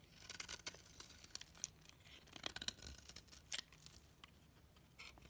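A razor blade scratches across the flat face of a solid, palm-sized orange soap bar held in the fingers, shaving off fine shreds and curls. Quiet, bright, crisp scraping comes in a quick, uneven series of short strokes, with almost no low end.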